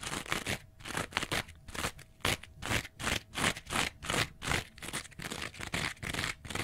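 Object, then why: Foam kitchen sponge with abrasive scouring pad. A small rectangular kitchen scrub sponge, with a yellow foam layer and a green abrasive scouring pad, is held upright and scratched along its edge with fingernails. The result is a rapid series of dry, bright, crackly scrapes in short bursts with brief gaps between them.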